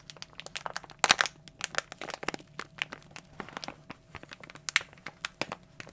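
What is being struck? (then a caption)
Glossy plastic foil bag. A glossy plastic foil toy blind bag is crumpled and crushed with fingers and fist. It makes a dense, bright crinkling full of sharp, short crackles and snaps, with a louder burst of crunching near the start and scattered sharp peaks throughout. There is almost no low end.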